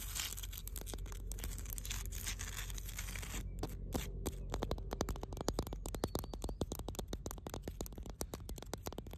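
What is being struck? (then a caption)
Granite rock. Long blue nails scratch and tap the rough surface of a large, solid granite rock by the water. The first few seconds are a dense, gritty scraping with a steady low rumble beneath. It then breaks into rapid, sharp clicking taps that continue to the end.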